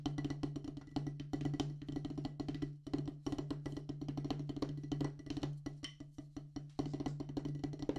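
A solid black rubber drum practice pad on a wooden base is tapped with two wooden drumsticks in a fast, steady stream of strokes. Each hit is a short, dry, woody knock with a low thump and almost no ring, so the strokes blur into a continuous patter.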